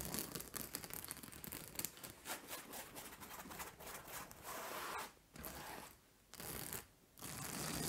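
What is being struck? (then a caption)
Plastic-spiked acupressure mat. Long nails scratch across a large purple fabric acupressure mat covered in white plastic spike discs, lying flat on a lap. Dense, bright crackling scratches come in quick bursts, then settle into steadier rasping strokes broken by short pauses near the end.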